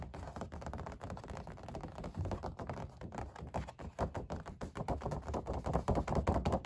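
Long black-painted nails and fingertips tap and knock on an oil painting of puppies on stretched canvas over a wooden stretcher frame, resting on a patterned cloth. A steady stream of quick, soft, dull thumps and taps is heard, low and drum-like with almost no brightness, each dying away almost instantly.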